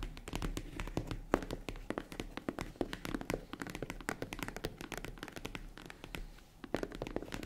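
Long nails tap and knock on the padded lid of a small, hollow, tan faux-leather zippered jewelry case, which is closed. The result is a quick, uneven stream of soft, dull taps and muted thunks that stop dead with no ring, and a few slightly harder knocks stand out.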